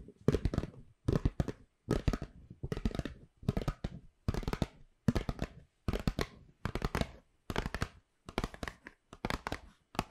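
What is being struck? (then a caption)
Paper gift bag. Long pink nails scratch and rub the surface of a hollow white Pandora paper shopping bag with black rope handles, held beside and behind the mic. The paper crinkles and scrapes in short, dense bursts about once a second, each separated by a brief silence, with a full low body and bright, crisp edges.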